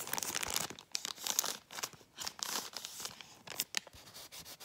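A brown kraft paper bag, folded flat, is scratched and rubbed with long painted fingernails. The result is a run of dry, bright, crinkly scratching bursts with brief pauses between them, almost entirely high-pitched with hardly any low end.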